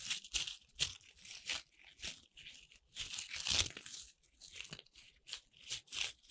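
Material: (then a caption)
Corn starch foam. Fingers with long red nails rub and crunch a pile of small, colorful corn starch foam playcorn pieces held in cupped hands. A series of dry, bright, squeaky crunches and crinkles rises and falls in short bursts, with almost nothing in the low end.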